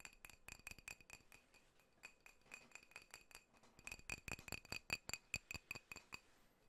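A drinking glass holding apple juice is tapped in a fast, uneven series of about thirty light taps. Each tap gives a short, bright clink with a ringing tone near 2.5 kHz that fades almost at once, growing louder and quicker toward the end.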